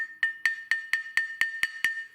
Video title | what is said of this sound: Comment choisir ses pierres Japonaises ? | écoutez la différence de bruit ça sonne presque creux